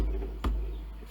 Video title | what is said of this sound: Mason & Hamlin CC Rebuild Part 9 (soundboard) | it has a nice ring to it when you bang on it fills the room